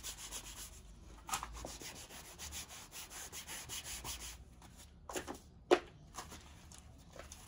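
A long strip of buffing cloth is pulled back and forth with both hands across the toe and vamp of a tall brown leather riding boot worn on the foot. The result is soft, rhythmic, breathy rubbing strokes with a dry, bright hiss. A few sharper cloth snaps stand out near the end, the loudest at about 5.7 seconds.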